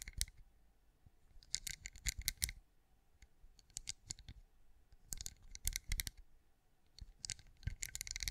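Long acrylic nails tap and scratch across the raised scales of a hand-sized, cream, pinecone-shaped wax candle that appears solid. Quick bursts of dry, bright clicks with almost no ring come in clusters, separated by brief quiet gaps.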